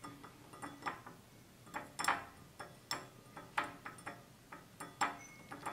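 Fingernails tap the sides of a small, empty, hollow stemless drinking glass of clear glass with a red-tinted base, standing on a table. About 17 light, bright clinks come in an uneven ticking rhythm, each with a short glassy ring centred near 800 Hz that fades in about a tenth of a second.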